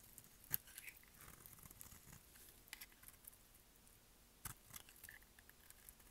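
A solid, curved, dry mint green bar of soap held in the hand is shaved with a utility knife blade. Soft, faint scraping and crisp cutting sounds with bright, crumbly crackle are punctuated by a few sharper clicks, the loudest near the start and again toward the end.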